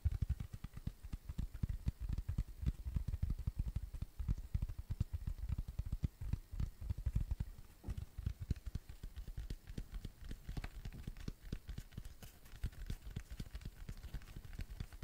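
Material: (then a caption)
Cork. A thin, solid, round flat tan cork coaster is held in the hand near the microphone and tapped and scratched with fingertips and nails. The result is a dense, rapid stream of soft, dull, low thumps with no ring, mixed with faint scratchy texture.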